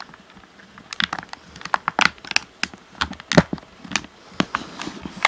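Fingertips tap the bumpers and shell of a hollow black plastic Xbox controller, tilted to show its top edge. The result is an irregular run of short, dry, clicky plastic taps with a bright edge and almost no ring, over a quiet background.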